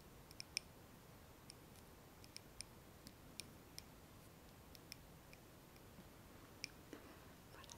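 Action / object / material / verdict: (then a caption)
tap / glass candle jar filled with wax / glass / none. A small glass candle jar filled with solid wax, its candle lit, is held in both hands and tapped quickly on the glass with long nails. About fifteen short, sharp, bright clicks ring high and die away almost instantly over a quiet, steady hiss.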